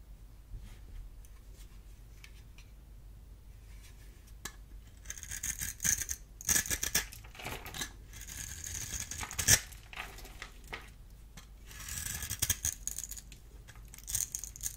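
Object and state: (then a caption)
Bar of dry soap being carved. A solid oval purple bar of dry soap, held in one hand, is carved into cubes with a small metal blade tool. The blade makes bright, crisp scraping and cutting sounds across the surface, with bursts of brittle crackling and small chips falling off. The quieter stretches in between carry a faint low rumble.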